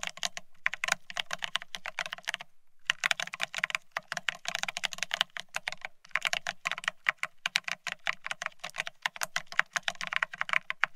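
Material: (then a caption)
Plastic. Fingertips of both hands type fast on a full-size beige split ergonomic keyboard with plastic-looking keycaps. Dense runs of short, bright plastic key clicks are broken by brief pauses, with a faint low thud under each burst.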